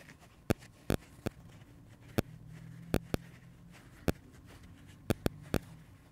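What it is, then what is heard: Dry foam sponge tapped with fingertips. Fingertips and short nails tap and scratch the surface of a dry, hand-sized pink porous foam kids' sponge with red speckles, held and pressed in the hands. About twelve sharp, short clicks stand out, some in quick pairs, over a quiet low hum with faint rustling between them.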